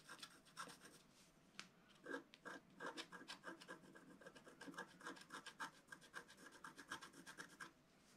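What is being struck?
Scratch art paper sheet scraped with a wooden stylus.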